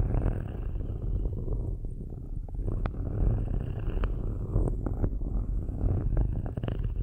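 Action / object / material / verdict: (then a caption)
scrape / perforated metal microphone grille / metal / none. Metal-tipped straight stick tools, held in both hands with long nails, slowly scratch and rub the perforated metal grille tops of two black cylindrical microphones. The result is a steady, deep, rumbling scrape with a low hum around 109 Hz. Brief bright ticks and clicks are scattered throughout.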